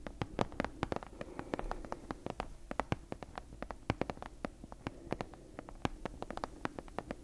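Long nails tap and scratch the cover and spine of a solid brown leather-covered book held in both hands. The result is a dense stream of quick, dry clicks, about 47 in all, over a soft, low hum.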